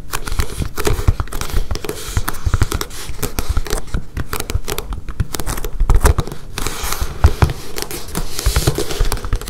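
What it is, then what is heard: Plastic cutting mat. Long painted fingernails tap and scratch a flexible blue gridded self-healing plastic cutting mat lying on a table. The result is a dense, close, continuous stream of short dry clicks and scrapes, weighted toward low frequencies with almost no ring.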